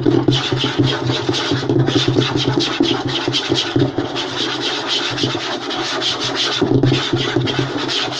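Short nails and fingertips scratch and rub quickly across a flat, light wooden tabletop. The result is a steady, dense rasping with a low wooden body and a bright scratchy hiss over it.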